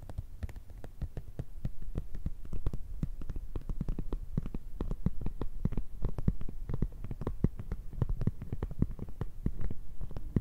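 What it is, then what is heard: Transparent plastic pencil case. Long red nails tap and scratch rapidly on an empty-looking, flexible clear PVC zip pencil case with black fabric zipper trim. A dense stream of quick, soft, dull taps sits mostly in a low, thumping range, with faint bright clicky edges on some strikes. The taps stop almost instantly with no ring.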